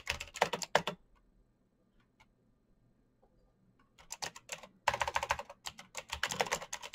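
Fingertips tap the backlit keycaps of a black plastic mechanical keyboard in fast typing, producing sharp, bright, quickly decaying clicks with a body around 600 Hz. A quick burst of keystrokes opens the clip, followed by a near-silent pause with only faint scattered ticks, then dense rapid typing resumes from about four seconds to the end.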